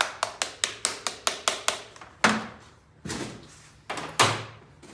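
A plastic part of an electric hoist is tapped, showing it is solid, good hard plastic. A quick, even run of nine sharp taps is followed by a few louder, more widely spaced knocks. Each gives a short, bright click with little low end.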